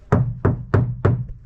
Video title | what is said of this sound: I Converted The SMALLEST Car I Could Find Into a FULL VAN BUILD | it sounds dead like yeah just solid